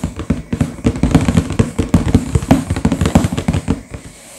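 Two hands tap quickly on the front cover of a sealed, full, medium-sized cardboard LEGO box lying flat, using fingertips and short nails. The result is a rapid, dense run of short, hollow, low-pitched thuds with almost no ring and little brightness. The taps thin out and stop near the end.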